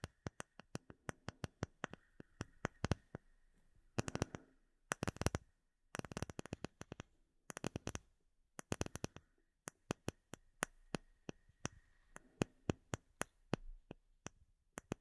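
Fingertips and short nails tap a flat, solid, clear acrylic plate with embedded bubbles held behind the microphone. The result is a steady run of sharp, dry clicks that die away almost instantly, broken by quick, dense bursts of rapid tapping. Each click has a low body and a bright tick on top, set against near silence.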